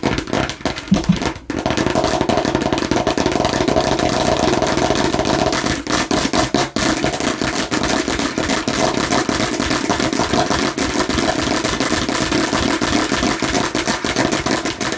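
Fingernails tap fast on the red face of a hollow plastic watermelon-slice bottle, making a dense, continuous clatter of short, dry plastic clicks with a mid-pitched hollow tone. The tapping holds a steady level for the whole clip, with only brief dips in between.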